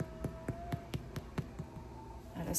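A homemade bread loaf is tapped about eight times at an even pace to check whether it is done. Each tap gives a short, dull, low thump that dies away almost at once. The loaf sounds hollow, which means it is baked through.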